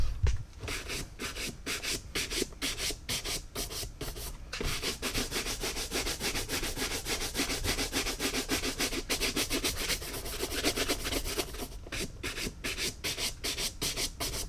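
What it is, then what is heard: Caiman leather boot being brushed. A hand holds an empty, hollow Tecovas caiman crocodile leather cowboy boot while a wooden-handled horsehair brush buffs it in quick back-and-forth strokes. The brushing makes a steady, rhythmic bristly rubbing with a bright, hissy edge over a low hollow body. The strokes come in fast bursts with brief pauses, running throughout the clip.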